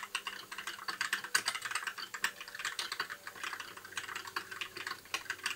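Fingertips of both hands type continuously on a compact white mechanical keyboard with backlit plastic keycaps. A steady, rapid stream of short, crisp clicks and clacks fills the clip, bright and light with no low thud and almost no ring after each keystroke.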